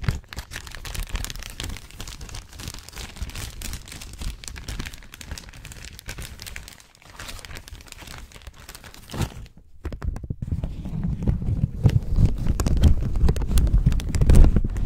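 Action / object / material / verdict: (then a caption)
scrape / thin plastic zip-lock bag / plastic / none. An empty, clear, thin plastic zip-lock bag is held in the hands and crinkled and rubbed close to the microphone. Dense, irregular crackling fills the first nine seconds, drops briefly near the ten-second mark, then returns louder and heavier, with strong low rumbling handling noise.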